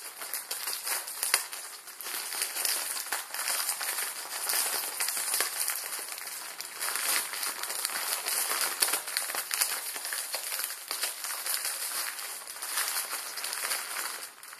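The back of a plastic-film instant ramen packet with noodles inside is crinkled and squeezed with fingertips. It makes a steady, dense crinkling and crackling with sharp bright snaps, carried almost entirely in the upper frequencies with no low end. The level rises and falls in waves through the whole clip.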